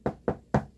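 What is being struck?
Wooden object.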